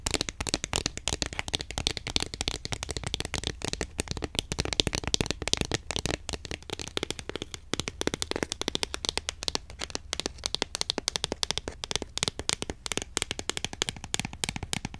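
A long, thin, hexagonal cardboard box of incense sticks, light and hollow, is held in the hand and tapped fast with long nails. The result is a steady 15-second stream of rapid, crisp, dry clicks, bright and high-pitched, each stopping at once with no ring.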